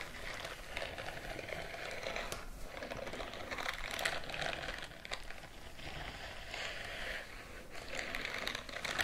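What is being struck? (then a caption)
Silicone bristle scrubbing glove. Fingertips and the palm of one hand rub and scratch across the bristled surface of a white silicone scrubbing glove worn on the other, raised hand. It makes a continuous, soft crinkling and scratching with a bright, hissy edge centered around 2 kHz. The texture swells and eases in waves rather than breaking into distinct taps.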